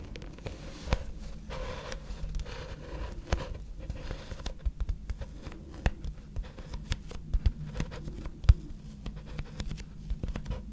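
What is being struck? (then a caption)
Thin flexible plastic glitter placemat. A rolled gold glitter plastic placemat, a thin flexible sheet, is tapped and scratched with long red nails. Quick, dry taps and light scratching patter at a soft level over a low, muffled rumble. Brief bright clicks stand out now and then.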